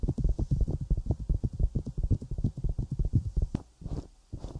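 Long nails tap and scratch the silicone ear of a 3Dio binaural microphone and its rim. About two dozen quick, dull, muffled taps follow one another with almost all energy in the low end. They give way to a few slower, softer scratchy brushes near the end.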